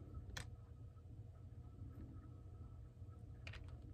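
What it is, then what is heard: Plastic computer keyboard keys being typed. Fingertips of hands with rings and painted medium nails type on the plastic keys of a black plastic computer keyboard. Sharp, bright key clicks come through near the start and again near the end, over a steady low hum that fills the clip.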